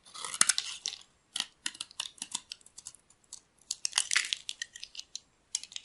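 A solid rectangular bar of dry cream soap, held in hands with pink nails, is carved into flakes with a metal blade. The scraping cuts make a rapid series of crisp, bright, crunchy scratches in short bursts with brief silent gaps, and almost no low end.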